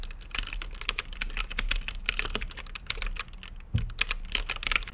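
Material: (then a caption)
Plastic. Fingertips type steadily on a mechanical keyboard with plastic keycaps and a translucent lit case. The result is a dense, irregular stream of short, bright clacks with a soft low thud beneath each press, and a heavier thump stands out near the end.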